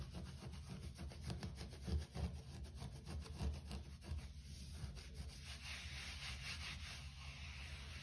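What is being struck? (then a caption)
Short-pile carpet floor. A hand scratches and rubs a short-pile grey carpet floor with its nails and fingertips. The result is a steady, dense, irregular scratching and rubbing texture with a low, muffled body and a soft, bright hiss that grows more noticeable toward the end.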